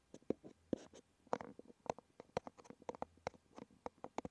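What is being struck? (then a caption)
Small cardboard box. Fingertips and nails scratch and tap the front face of a small red cardboard medicine box resting on a wooden table. Eighteen quiet, dry taps and short scratchy rubs come at an uneven pace, each stopping at once with no ring. The sound sits in the low-mid range with faint bright edges.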